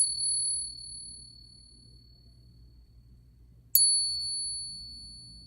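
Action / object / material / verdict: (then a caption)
tap / silver dollar coin / silver / real. A genuine silver Morgan dollar is tapped twice in a ping test, each tap producing a long, clear, high-pitched ring with bright overtones that slowly fade. Its sustained tone sounds markedly different from a brass fake coin, marking it as real silver.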